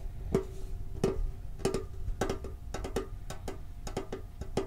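A hollow, red and blue printed metal Pokemon card tin with a lid is tapped with fingertips on its lid and sides. The result is a quick series of short, dry taps, some slow and some fast, each with a faint metallic ring around 390 Hz over a low background rumble.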